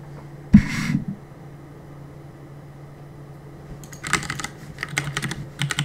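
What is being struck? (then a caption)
Plastic mechanical keyboard. Fingertips press and tap the plastic keycaps of a black plastic CM Storm mechanical keyboard on a desk while gaming. A sharp, loud clack opens the clip, followed by a stretch of quiet with a steady low hum underneath. A rapid cluster of bright, clicky key taps then fills the last two seconds.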